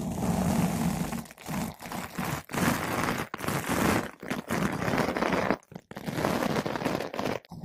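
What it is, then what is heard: Foam microphone windscreen being brushed. A flat paintbrush with blue synthetic bristles brushes a large, soft, porous yellow-pink foam ball windscreen fitted over a microphone. Dense, crunchy scratching comes in bursts of strokes separated by brief silent gaps, full and close with most of its weight in the low and middle range.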